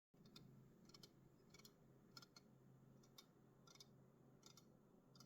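Fingers tap an aluminum Red Bull energy drink can, making a series of quick, bright metallic clicks that die away almost instantly. A steady low hum runs underneath the whole clip.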